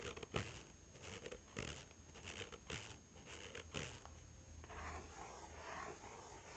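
An empty-looking, small and hollow brown cardboard Huawei phone box is held in one hand while the fingertips and nails of the other hand tap and scratch it. Dull, hollow taps with short, quick decay are spread among soft, bright scratching, and a steadier scratching texture fills the last couple of seconds.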